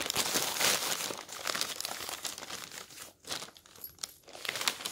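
A hand wearing rings and a bracelet lifts and turns the thin pages of a large, open newsprint newspaper lying flat on a table. The pages give a dense, bright rustling and crinkling that stays mostly in the high range. The sound fades briefly to quieter crackles and then rises again as the next page turns.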